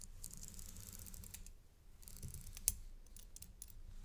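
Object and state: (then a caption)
Metal link chain necklace. A gold metal paperclip-link chain necklace is stretched on black cloth by gloved hands while a thin metal or dark stick taps its links and pendant. Quiet, bright clicks and light metallic ticks run over a low background rumble. One sharper tick stands out near the middle of the clip.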